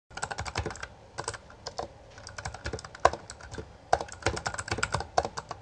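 Both hands type continuously with their fingertips on a Bloody B820R, a full-size black plastic mechanical gaming keyboard with backlit keycaps and a hollow housing. Fast, irregular bursts of sharp, bright plastic clacks with a hollow knock underneath are broken by brief pauses, and each keystroke cuts off almost instantly.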